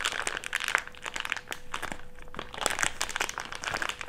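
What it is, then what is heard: Thick clear plastic bag. A crumpled wad of an empty thick clear plastic bag is rubbed between the palms. It gives a dense, continuous crinkling with bright, sharp crackles throughout and a faint steady hum underneath.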